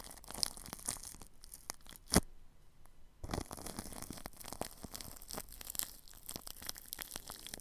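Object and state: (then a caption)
Plastic cling film over a microphone, brushed. A paintbrush brushes across plastic cling film wrapped over a ball microphone's grille, making close, crinkly, scratchy strokes with bright rustling detail. A sharper crackle stands out just after two seconds, then a brief near-silent pause follows before the dense brushing resumes and continues to the end.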